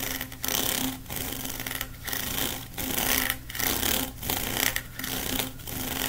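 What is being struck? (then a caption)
Ribbed plastic pop tube. Fingertips scratch and rub quickly along the corrugations of a long blue ribbed hollow plastic pop tube. The result is a dense, bright, raspy scraping that comes in steady repeated bursts, each separated by a brief dip, with a faint low hum underneath.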